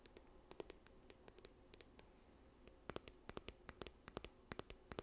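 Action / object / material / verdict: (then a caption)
tap / plastic squeeze tube / plastic / none. Long nails scratch and tap a yellow, partly full plastic sunscreen tube held in front of the microphone. Soft, dry scratching and light clicks fill the first half, then sharper, brighter tapping clicks take over from about three seconds in. In all, around 28 short ticks are heard, each stopping instantly with no ring.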